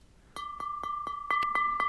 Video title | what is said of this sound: How To Make A Mug Club Mug (Narrated) | you can hear how different the sound is when I'm tapping on it